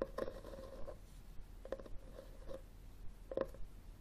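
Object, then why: Cloth-covered hardcover book. Short fingernails scratch and tap the front cover of a solid red textured cloth hardcover book, held and tilted on a wooden table. Quiet, dry scratching strokes alternate with soft, short taps that die away almost instantly, with most of the energy low and a faint tone near 500 Hz.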